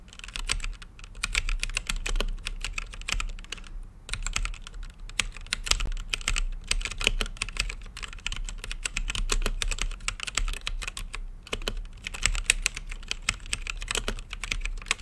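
Fingertips type steadily on an RGB-lit mechanical keyboard with plastic keycaps and a clear acrylic case. Quick, bright, clacky key presses, centered around 2.5 kHz, follow one another in a continuous run with almost no ring, over a constant low hum.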